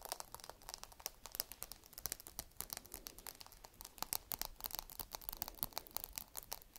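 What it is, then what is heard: Walnut in shell. Long red nails scratch a single small whole walnut with a hard woody shell, held close to the microphone. A rapid, steady stream of dry, crisp scratches and clicks is heard, bright and crackly with little low end. Each tick stops instantly, with no ring.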